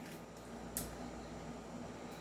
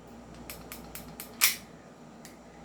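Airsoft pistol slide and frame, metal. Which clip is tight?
The first.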